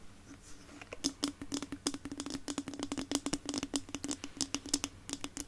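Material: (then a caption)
Plastic. Long nails tap and scratch the smooth plastic back and bristles of a small red plastic detangling hairbrush (Tangle Teezer style), solid with bristles and held in both hands in front of the microphone. After a soft scratchy start, about 29 quick, dry, bright clicks follow, each dying within a few hundredths of a second over a faint steady hum near 285 Hz.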